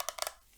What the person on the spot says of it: It sounds plasticky.